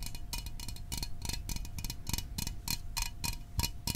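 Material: Aluminium.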